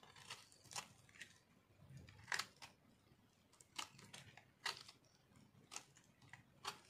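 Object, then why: Soap bar shaved with a metal knife. A metal knife shaves a solid pink speckled bar of dry soap held in one hand, producing a series of short, dry scraping and crunchy scratching strokes. Each stroke is bright and crisp, stops quickly with almost no ring, and is separated by quiet pauses.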